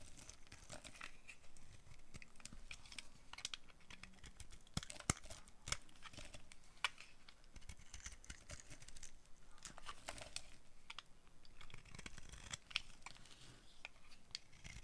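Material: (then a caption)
Soap. A solid, dry, light green bar of soap is held in the hand and shaved into flakes with a metal blade. The carving makes a steady, quiet, crinkly scraping with bright crackles and frequent sharp snaps. The snaps stop at once, with no ring.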